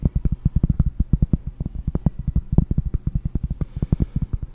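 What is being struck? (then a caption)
Round cork trivet. Long painted nails tap rapidly on a large, round, solid cork trivet held in both hands. About 34 quick, dull, low taps sound, each dying away almost instantly with no ring, forming a steady soft drumming.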